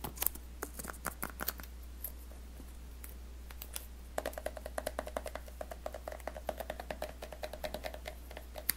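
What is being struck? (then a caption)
Small rigid cardboard box. Fingertips and nails scratch and tap the smooth printed surface of a small, rigid, closed white cardboard iPhone X retail box held in both hands and turned over. A quick, uneven run of sharp, dry clicks and soft scratches sounds with no ring, over a steady low hum.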